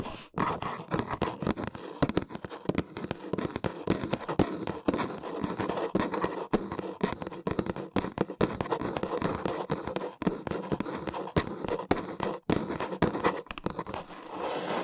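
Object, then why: Corrugated cardboard box. Long nails tap fast on the top edge of a large, hollow brown corrugated cardboard box. They make a dense stream of short, dry, hollow clicks with a papery mid-range body. There is little ring after each tap.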